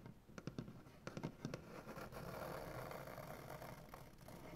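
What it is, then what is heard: Wooden butcher-block table. Both hands tap and scratch a large, solid, light wood butcher-block tabletop with medium-length dark-painted nails and fingertips. Sharp, dry taps with a low woody thump come first, then settle into a steady, grainy scratching that rasps across the surface with a few more taps near the end.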